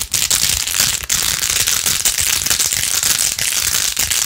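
Long acrylic nails fast-scratch and tap the rows of pink plastic pearl beads glued onto a handheld rose-gold-edged plastic phone case. The result is a steady, dense, bright crackling scratch with rapid clicking, almost all high in pitch and with very little low end.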